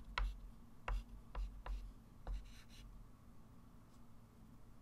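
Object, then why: Chalk stick on a wood-framed chalkboard. A white chalk stick writes and circles numbers on a small, solid, wood-framed flat chalkboard, making five distinct taps and short scratch strokes with bright, scratchy bursts. A steady low hum sits underneath, and the clip trails off into quieter faint scraping.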